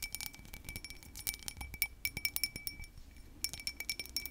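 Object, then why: Textured glass object. Tapping and scratching on a textured glass object produce rapid, crisp, clicky glass clinks with a bright ring near 2.3 kHz. The taps fall in quick irregular bursts, each dying away almost at once, with a brief quieter stretch near the three-second mark.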